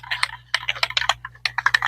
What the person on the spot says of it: so you can hear that rattle in there